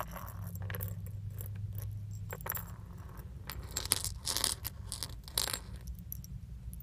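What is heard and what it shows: Small metal leaf charms on a thin metal chain are dangled from the fingertips and shaken in front of a steering wheel. The leaves clink together in short, bright metallic ticks and jingles over a steady low hum.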